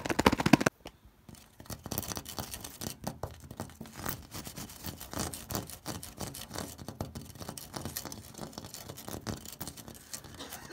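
Fingertips and short nails scratch and tap across an orange ribbed terracotta corrugated clay roof tile marked with blue paint. A loud burst of scratching opens the clip, then after a brief silence comes a steady stream of quick, dry scrapes and taps. Each one is short and raspy, with no ring after.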